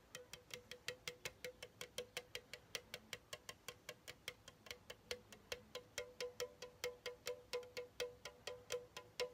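A pink Chupa Chups aluminum soda can, hollow and held in the right hand, is tapped with the fingertips of the left hand. About 46 quick, light taps follow at a steady pace. Each is a short, bright, hollow tick with a faint ring near 460 Hz that dies away almost at once.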